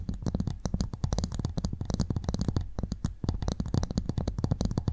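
Two empty, hollow halves of one large freshwater mussel shell with a brown ridged outer surface are held upright beside two microphones while both hands scratch the ridges with long painted nails. The result is a fast, continuous run of short, dry scratching strokes with a soft, thumpy low-end body and crisp bright edges, steady in level throughout.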